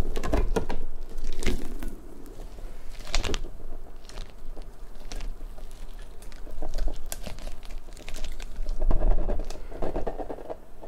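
Long nails scratch and pluck the spikes of a large, hollow, partly translucent pink rubber puffer ball and press its surface. The result is a quick, irregular run of soft rubbery flicks, scrapes and squeezes over a low, dull rumble, rising and falling in loudness throughout.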